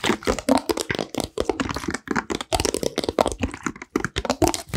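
Fingertips and nails tap and squeeze a clear plastic water bottle with a red cap, partly filled with water and held in both hands. Rapid, irregular crackles and sharp taps spread from low thuds to bright clicks, with a few short pauses between bursts.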